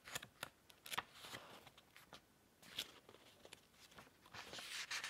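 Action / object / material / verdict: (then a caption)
scrape / paperback book pages / paper / none. A thick paperback book lies open on a green cloth table while both hands riffle and flip a bundle of its paper pages with the fingertips. Quiet, bright, crisp flicks and dry papery rubbing come in a quick irregular series, swelling into a longer rustle at the end.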